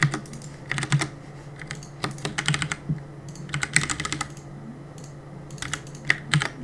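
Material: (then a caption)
Plastic. Fingertips press and tap the plastic keycaps of a black plastic CM Storm mechanical keyboard on a desk while gaming. Quick, bright clicks come in irregular bursts and rapid clusters, each dying away almost instantly, over a steady low hum.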